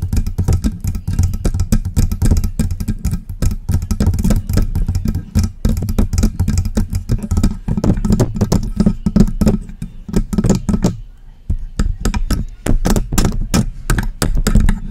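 Long press-on nails rapidly tap and scratch the body and grille of a hollow silver metal USB microphone. The sound is dense, fast clicking with heavy, boomy low thumps and short bright ticks. The activity eases briefly around eleven seconds before the quick tapping resumes.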